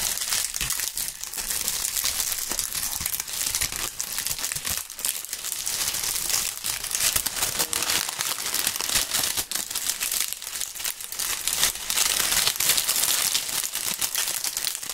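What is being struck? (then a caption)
Maple leaves. Handfuls of dry, brittle brown maple leaves are crushed and crumpled between gloved fingers close to binaural microphones, with more loose leaves lying on a chessboard below. A dense, continuous bright crinkling and crunching runs through the whole clip at a fairly steady level, with almost no low end.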